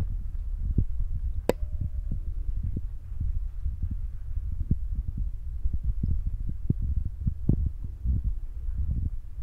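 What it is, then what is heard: Foam microphone windscreen. Fingertips with short nails tap and press the top of a soft, porous black foam windscreen on a handheld Zoom recorder. The result is a steady run of dull, muffled low thumps and soft rumbling, with one brief sharp click early on.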